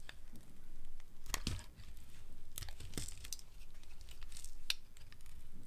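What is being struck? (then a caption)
Soap bar shaved with a metal blade. A dry, solid green soap bar held in the hand is shaved by a metal blade into long curls and flakes. The blade makes a continuous, low, papery scraping with sharp, bright crackles and snaps breaking through as the curls tear away.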